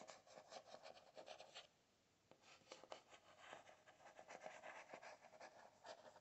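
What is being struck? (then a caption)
Spiral notebook with cardboard cover. A single fingertip and nail tap and scratch across the cardboard cover of a closed spiral notebook printed with "today is a new beginning." Quiet, dry, papery scratches and soft taps sit in the midrange with almost no low end, pausing briefly into near-silence around two seconds before resuming.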